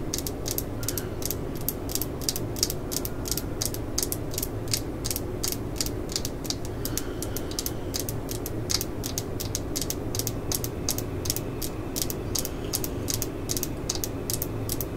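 A solid black and yellow Stanley plastic screwdriver handle, held in the hand, is tapped and scratched with long glittery nails. Rapid, bright, dry clicks and ratchet-like scratching run steadily throughout over a constant low hum.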